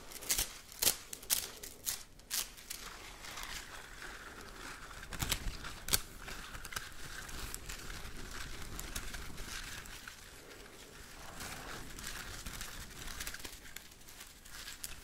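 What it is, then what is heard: Plastic slinky spring. A red plastic slinky spring is held compressed while fingertips flick and press its coils. The coils give quick, bright clicks and light crinkly rattles, sharper and louder in the first six seconds. A softer, steady rustle follows.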